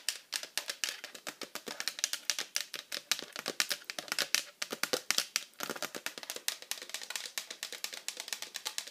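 An empty, hollow pink hard-plastic iPad cover with cutouts is held in the hands and fast-tapped with very long acrylic nails, with rings on the fingers. A rapid, steady run of dozens of sharp, bright plastic clicks follows, each dying away almost instantly with almost no low end.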